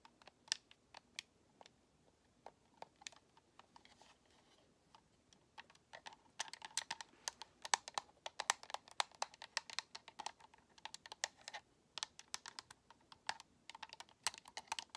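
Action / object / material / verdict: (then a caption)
tap / plastic game controller shell / plastic / none. Long nails tap and scratch the white, hollow plastic shell of an Xbox controller near the thumbsticks, with its top edge facing forward. Sparse, sharp clicks in the first few seconds give way to dense, rapid bursts of bright, dry tapping that stop instantly with no ring.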